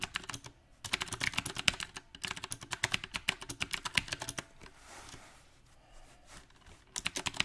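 Both hands type fast with their fingertips on a compact backlit mechanical keyboard with round plastic typewriter-style keycaps, producing sharp, bright clacks in quick, uneven bursts. The typing stops for about two seconds in the second half, leaving only a faint hiss, then picks up again at the end.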